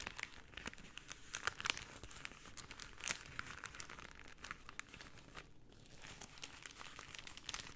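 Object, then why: Rolled cellophane tube. A tube of rolled pink cellophane is twisted and squeezed in both hands with long painted nails, making a soft, continuous run of bright crinkles and crackles throughout. A few sharper, louder crackles stand out near the two- and three-second marks before the crinkling settles back to a quiet, steady rustle.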